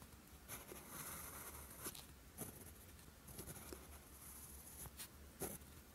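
A steel fountain pen nib scratches across a flat sheet of lined writing paper, writing Korean characters in green ink. Quiet, dry scratching strokes come in short bursts with bright, high hiss over a steady low hum.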